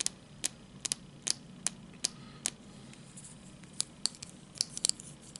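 Short fingernails tap and scratch along the edge and surface of a small, elongated, apparently solid piece of red translucent hard plastic held in both hands. Around sixteen sharp, bright clicks stand out over a quiet, hissy scratching bed with almost no low end. Each click dies away instantly without ringing.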